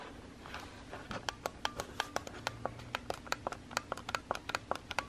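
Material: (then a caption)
Plastic. A fingertip with a painted nail repeatedly presses the button beside the flash on a white Instax instant camera with a small hollow plastic body. About 23 sharp, dry clicks come in a steady run, each bright with a brief hollow tone near 1.4 kHz. A low, quiet background hum sits underneath.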